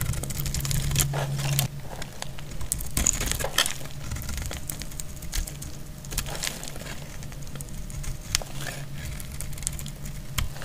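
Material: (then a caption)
Soap. A metal utility blade cuts and scrapes a solid, dry, dark purple bar of soap into flakes. Many quick, dry crackling scrapes and crinkles come in rapid, uneven succession, with bright high edges over a steady low rumble.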